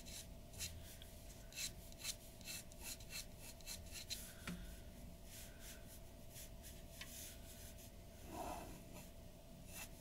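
The nib of a glass dip pen scratches quick strokes across a large flat sheet of white drawing paper resting on a wooden table. About eleven short, bright, raspy scratches stand out over a quiet, steady low background, with the paper rubbing softly between them.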